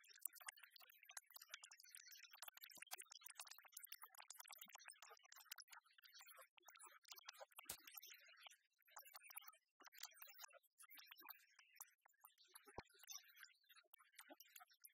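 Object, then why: Large plastic pen with rubber grip. A hollow, giant novelty ballpoint pen with a plastic body, a black ribbed rubber grip, and a silver clip and tip is held in the hand and tapped and scratched with long fingernails. The result is a quiet, fast, continuous stream of dry, bright clicks and scratchy ticks that die away almost instantly, with a few sharper clicks standing out and almost no low end.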